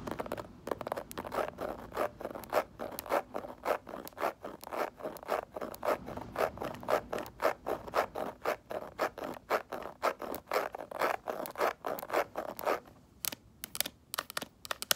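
Long acrylic nails scratch across the embossed surface of a small, hollow snakeskin-print faux leather mini bag. The result is a quick, fairly steady run of short, dry scratching strokes with a papery midrange rasp and a little brightness. The strokes briefly thin out and grow sparser near the end.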